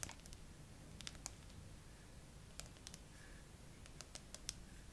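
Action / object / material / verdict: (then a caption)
tap / smartphone with glass back and metal frame / glass / none. Long acrylic nails tap and scratch slowly across the flat glass back of a bare, handheld-sized graphite iPhone with a metal frame, clamped upright in a tripod phone holder. About fifteen short, bright, dry clicks come at irregular intervals, with faint scratching between them over a soft low rumble. Each tap dies away almost instantly.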